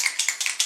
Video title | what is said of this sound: Urban Decay All Nighter Liquid Foundation - First Impressions, Demo + Review | when I shake this guy it's like loud and this one I don't even hear anything in there